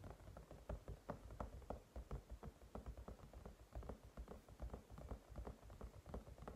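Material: Silicone.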